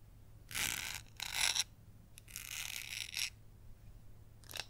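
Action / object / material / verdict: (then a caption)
scrape / glass candle jar with glitter coating / glitter-coated glass / none. Long yellow acrylic nails tap and scratch the glittery outside and base of a gold glitter-coated glass candle jar filled with white wax. Several bursts of bright, hissy scratching rise and fall, with a short final scrape at the end and faint low hum between them.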